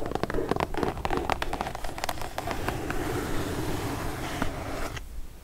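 Long nails tap on the top of a kraft cardboard mailer box and scratch along its sides, giving quick, irregular dry taps over a soft papery scraping rustle. The tapping thins out into steady scratching before the sound drops away near the end.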